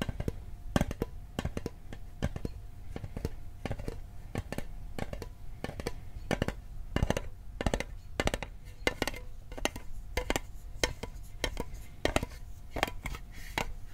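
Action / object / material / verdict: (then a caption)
tap / small metal mint tin / tin-plated steel / none. A metal Altoids mint tin is tapped with fingertips at a mix of fast and slow paces, giving a steady run of short, dry clicks. Each tap is sharp and dies almost instantly, with a low body and thin bright edges over a faint hum.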